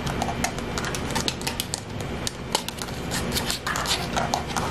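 A smartphone in a thick black rubberized plastic case, hand-sized and held close, is tapped and scratched rapidly with long fingernails. Quick, sharp clicking taps fall in an irregular stream over a continuous scratchy rustle, with short bright ticks and almost no ring after each tap.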